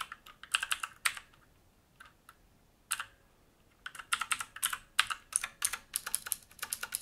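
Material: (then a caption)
Plastic, metal. Fingertips type on a full-size black mechanical keyboard with plastic keycaps and a grey metal frame and top plate, resting on a wooden desk. Short, dry, bright clacks come in quick bursts with almost no low end. A few scattered taps fill a quieter stretch in the middle before a denser run of fast typing to the end.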